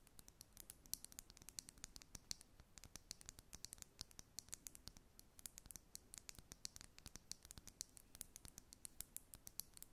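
A glass makeup foundation bottle is tapped and scratched, giving a continuous run of quick, sharp, bright clicks with almost no ring. Faint scratchy texture fills the gaps between taps, and the whole clip stays quiet and close.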